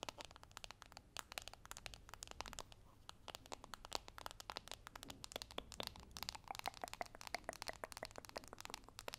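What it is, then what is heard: Cardboard box scratched and tapped with fingernails. A small, hollow holographic cardboard makeup box is gripped at its edges with both hands while fingernails scratch and tap on its front and edges. Dense, quiet, crackly clicks and scratches run continuously with bright, dry, short transients and almost no ring.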